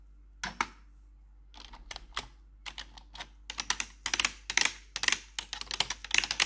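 A gloved hand with metal claw nails taps the keycaps of a black plastic RGB computer keyboard. It makes a quick, irregular series of sharp, bright clicks with almost no low end and very short decay. The clicks come in clusters that grow denser and louder toward the end.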